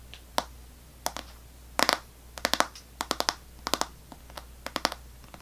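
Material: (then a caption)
Plastic. An unwrapped Extra gum pack, a clear plastic tray full of foil-wrapped sticks with a paper label, is held in one hand and tapped with long nails. The result is a series of sharp, bright, clicky plastic taps, some single and some in quick clusters, each dying away almost instantly over a quiet low hum.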